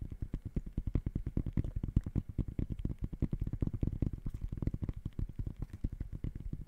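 Fingertips tap rapidly on the mesh textile upper of an empty gray high-top sneaker. The result is a fast, steady stream of short, dull, low thumps with almost no brightness and no ring after each tap.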